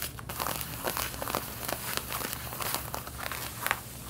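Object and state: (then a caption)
Denim jeans being scratched. Long painted fingernails of both hands scratch across the back pockets and seams of snugly worn light-blue cotton denim jeans, the fabric stretched over a soft backing. Quick, dry rasping strokes come in an uneven stream of crisp crinkling scratches with bright edges, over a faint steady low hum.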